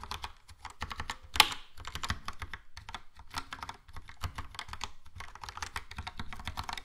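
Slower fingertip typing on a Logitech POP Keys plastic mechanical keyboard with a yellow plastic case and round plastic keycaps. It makes a steady run of short, bright plastic clicks and clacks with a soft low thump under each press, and one sharper, louder clack early on.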